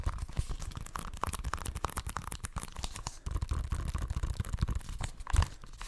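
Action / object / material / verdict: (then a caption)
tap / plastic video game case / plastic / none. A hollow plastic Xbox One game case for FIFA 16, likely with its cellophane wrap still on, is held close to the microphone and tapped and scratched with fingertips and nails. Dense, crinkly scratching runs over muffled, boomy low thumps, with a brief lull near the middle and a louder tap close to the end.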